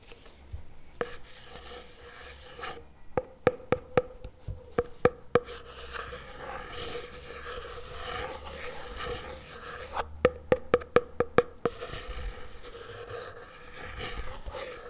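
A CremaNovi plastic spread tub lies on its side on a table while a fingertip and nail tap and scratch its lid and side. Two bursts of quick, sharp taps, each with a short hollow ring near 500 Hz, stand out over a soft, continuous scratching rasp.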